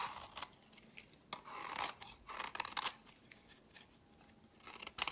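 A solid white bar of soap held in the hand is scraped and shaved with a metal utility knife blade, with the flakes piling onto a woven mat. Dry, bright, crisp scraping strokes come in short bursts and longer rasping passes, with almost no low end and no ring after each stroke.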